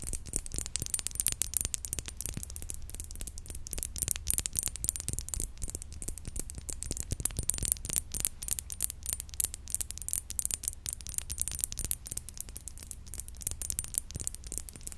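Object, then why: Thick glass perfume bottle tapped with fingernails. A thick glass perfume bottle with a faceted glass-look cap and pink liquid inside is held in the hand and tapped quickly with long nails. The result is a steady stream of sharp, bright clicks that die out almost instantly, over a low background rumble.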